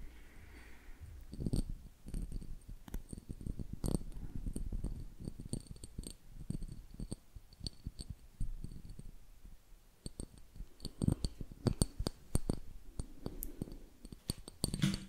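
A small clear glass jar with a gold metal screw lid and a little content inside is held in one hand and tapped with fingertips and nails on the glass and the lid. The result is a steady run of many quick, soft taps and clicks. Most taps are dull, low thuds with almost no ring, and some carry a faint bright tick.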